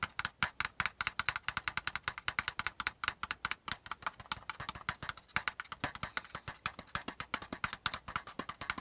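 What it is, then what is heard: Kraft cardboard folder. Fingertips of both hands tap fast on the top surface of a hollow, folded brown kraft cardboard folder lying on a spiral notebook. Dozens of quick, dry, papery taps run continuously, each dying away almost instantly, with a hollow mid-range knock around 1.4 kHz and a bright edge.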